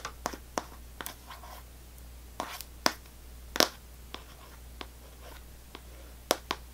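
A sealed Extra gum box, cardboard wrapped in clear plastic film, is held in the hands and tapped and scratched with long nails. About thirteen sharp, crisp taps land at an irregular pace, each with a bright crinkly edge and almost no ring. Faint scratchy rustles fill the gaps over a low, steady hum.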